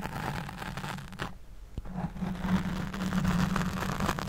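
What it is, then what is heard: Foam microphone windscreen being scratched. Long nails scratch a black foam windscreen over a large studio microphone while the other hand holds the mic body. The result is a dense, rough scratching with a heavy low rumble. It dips briefly quieter with a single sharp tick, then resumes louder and steadier.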